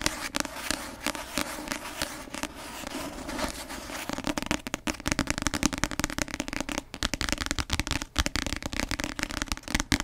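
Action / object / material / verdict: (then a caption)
tap / paperback book with glossy cover / paper / none. Long nails tap fast on the glossy cover of a paperback novel, making a dense run of sharp, dry clicks with no ringing. The tapping is softer and more continuous in the first few seconds, then turns into louder, more distinct bursts through the rest of the clip.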